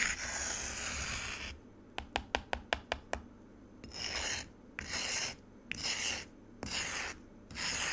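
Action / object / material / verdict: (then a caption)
scrape / frozen juice in a plastic container / ice / none. A metal spoon scrapes the icy surface of frozen pomegranate juice in a white plastic container, giving a long, bright, hissing rasp. Seven quick, sharp taps follow. The clip ends with a series of shorter scraping strokes separated by brief pauses.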